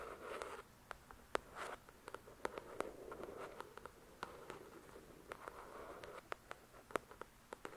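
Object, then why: Paperback book with card cover. A paperback copy of the novel "The Shack", with solid paper pages and a glossy card cover, is scratched and tapped by long pointed dark red nails. Soft, hushed scratching swells in and out, mostly in the mid range. Many sharp, dry clicks from nail taps are scattered through it, each dying away almost instantly.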